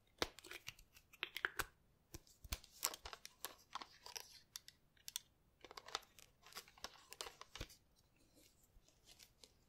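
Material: Plastic.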